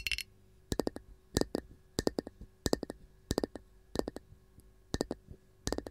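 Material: Wood.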